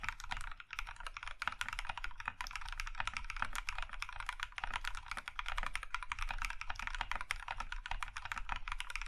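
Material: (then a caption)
Plastic. A compact Iron 165 mechanical keyboard in a plum/maroon metal case with cream plastic keycaps is typed on by both hands using the fingertips. Quick, continuous keystrokes overlap into a steady stream of sharp, bright plastic clacks over a low thocky thump, each stroke dying away almost instantly.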